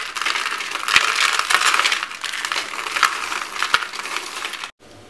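Blue and white marbled dry soap in thin stacked shavings and flakes is squeezed and crushed in both fists and handled in cupped palms by hands with red-painted nails. It gives a dense, bright, crisp crunching and crackling with a few sharper snaps, continuing for about four and a half seconds before cutting off to near silence.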